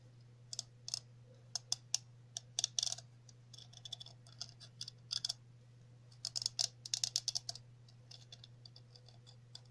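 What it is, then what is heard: Plastic cap tapped with fingernails. A chunky, hollow red plastic cap with a center hole and ridged sides is held in the hands and tapped and scratched with long natural nails. Bright, sharp clicks and brief scratchy bursts come in irregular clusters, with a faint steady low hum underneath.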